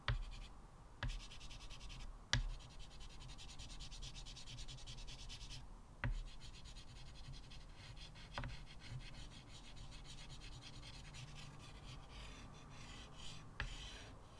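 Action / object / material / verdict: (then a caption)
scrape / chalk on a wood-framed chalkboard / chalk / none. A small white chalk stub held in the fingertips scratches across a flat blackboard in a light wood frame, drawing lines and small circles. Steady, gritty, bright scraping runs throughout, with a low hum underneath. A few sharp taps stand out where the chalk strikes the board.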